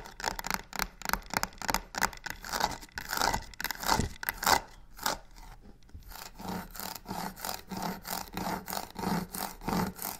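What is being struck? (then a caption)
Faux leather covered box. Long pink nails rapidly scratch and tap the sides of a hollow, medium black box covered in croc-embossed faux leather with white stitched edges, sitting on a wooden table. A fast run of rough, bright rasping scrapes mixes with short dull taps in a loose, quick rhythm, turning into softer, more even strokes in the second half.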